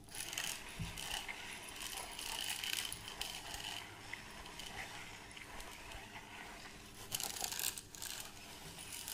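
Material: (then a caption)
Plastic. A plastic measuring tape reel is held in one hand while the other hand turns its crank and handles the case, with the tape strip hanging down. The result is a steady stream of bright, dry ratcheting clicks and scratchy plastic rustling centered near 3 kHz, with a louder burst of clicking a little past the seven-second mark.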